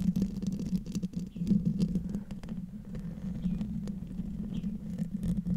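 Long fingernails on both hands scratch the silver metal mesh grille over the hollow head of a large condenser microphone. The result is a dense, rumbling scratch with a low droning hum around 170 Hz, peppered with quick, sharp clicks and brief bright flicks.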